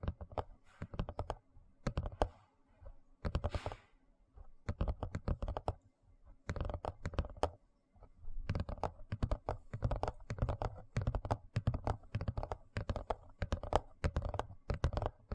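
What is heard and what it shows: Fingers tap and scratch the surface and edges of a large, thin, rigid white plastic tray held in both hands. Rapid, dull, low-heavy taps come in dense bursts separated by brief pauses, each tap dry and quickly gone, with a short brighter scratching swish early on.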